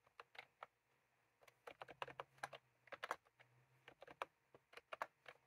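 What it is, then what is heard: Plastic round-key keyboard being typed on. Fingertips type on a white and cream plastic retro keyboard with round keycaps, while a small clip microphone lies on the keys untouched. About twenty short, crisp clicks come in irregular bursts with brief pauses between them. Each click dies away almost at once over a faint low hum.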